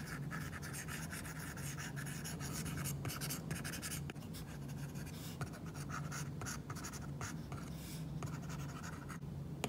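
An Apple Pencil's plastic tip makes many quick scratching strokes and taps on an iPad screen fitted with a matte plastic screen protector while coloring. The dry, gritty scratches run continuously with short bright bursts over a steady low hum.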